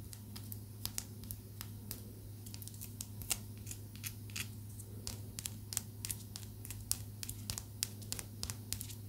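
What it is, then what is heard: Amethyst crystal. A small, solid purple amethyst tumbled stone held between the fingertips is tapped and scratched with long acrylic nails. Dozens of quick, bright clicks with almost no ring are scattered among soft scratching sounds. A steady low hum runs underneath throughout.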